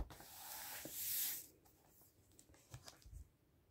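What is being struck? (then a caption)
Book with glossy paper pages. A flat hand rubs its fingertips across the glossy paper pages of a large open book on a dark table, turning pages and rubbing along the spine. A steady, bright, hissing swipe swells for over a second, then fades into quieter rustles with a few soft, low thumps near the end.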